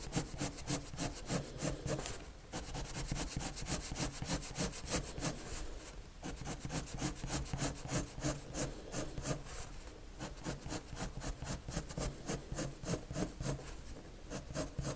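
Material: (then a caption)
Paper. A red colored pencil scratches shading lines across a large white paper sheet. Quick back-and-forth strokes make a steady, bright scratching rasp with short pauses between bursts of strokes.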